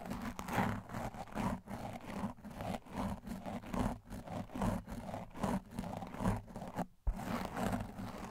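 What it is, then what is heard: Foam microphone windscreen being brushed. A blue and white tile brush with stiff plastic bristles is scrubbed aggressively over a large black foam windscreen on a microphone. It makes a steady run of rough, scratchy brushing strokes, roughly one stroke per second, with a heavy low rumble underneath. The strokes break off into a brief silence just before the 7-second mark, then resume.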